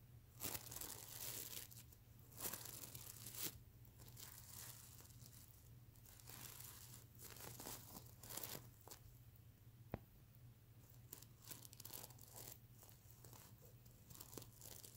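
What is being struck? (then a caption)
Sequin-covered fabric pillow. Medium-length natural nails scratch and flip the reversible iridescent plastic sequins covering the soft fabric of a plush, hollow stuffed unicorn/mermaid pillow. Dense, bright crinkling and tearing-like rasps come in bursts, with sharp clicks of sequins flipping over. A steady low hum runs underneath throughout.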